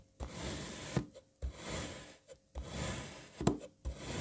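A serrated knife slices a solid light blue kinetic sand puzzle block into strips and then cuts crosswise. Four separate drawn strokes make a soft, low, gritty scraping rasp, each ending in a light click as the blade finishes the cut.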